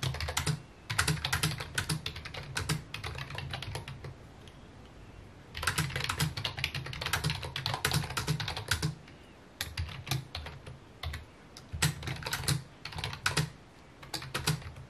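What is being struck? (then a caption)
Plastic computer keyboard. Fingertips type rapid key taps on a full-size white and mint plastic keyboard with a hollow housing, resting on a wooden desk. Bursts of quick, bright clicks sit over a hollow low thump, with a brief lull around the fourth to fifth second before the typing picks back up.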